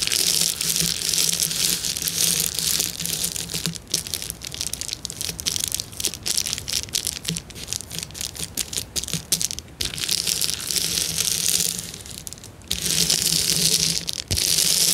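Fingertips and nails press and scratch a clear plastic bubble wrap sheet, giving a dense, bright crinkling and scratching that swells and fades in irregular bursts. A faint low hum sits underneath during the louder stretches.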